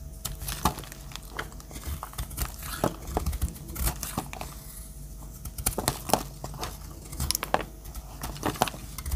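A metal utility-knife blade shaves dry curls off the edge of a pale yellow solid soap bar held in hand. The clip is a steady run of short, dry scraping and crinkling strokes with bright crackly edges and a low hum underneath. Each stroke stops almost at once, with no ring.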